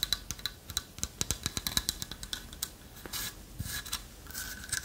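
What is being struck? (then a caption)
Carved light-wood owl figurine with lattice body. Long fingernails tap and scratch a carved light-wood owl figurine with a hollow lattice body, making a quick run of sharp, bright clicks with a faint high ring. The tapping then gives way to a rougher, hissy scratching across the wood.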